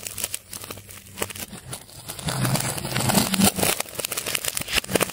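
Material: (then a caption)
Plastic tape. A metal scalpel cuts and scrapes into a large solid ball of layered colored plastic tape held in a hand. Dense, irregular crinkling and crackling snaps are heard, with a low rumbling scrape underneath that grows louder through the middle of the clip before easing off.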